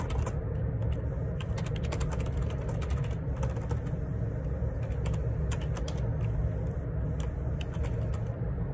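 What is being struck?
Plastic computer keyboard.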